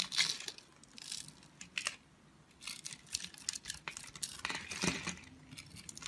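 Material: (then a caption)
Soap. A craft knife blade cuts and scrapes scored cubes from the surface of a solid, opaque, purple-green speckled oval soap bar held in the palm. Bursts of dry, crisp crackling and scraping, bright and high with little low end, come in uneven clusters over a quiet background.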